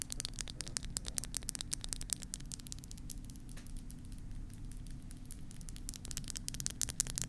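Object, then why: Silicone ear pieces of a binaural microphone. Long manicured nails and fingertips tap and scratch the hollow silicone rubber ears of a black 3Dio-style binaural microphone with a plastic body, working on both ears throughout. Rapid, bright, crisp clicks and scratchy rustles sound over a steady low rumbling hum. The tapping is dense at the start and end, with a softer, sparser stretch in the middle.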